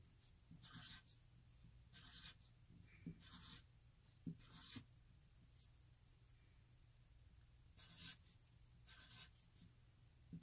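A wooden graphite pencil held at the fingertips writes cursive letter e's on a flat white paper sheet resting on a hard surface. Six short, bright scratching bursts rise over a low background hum, with a long pause before the last two.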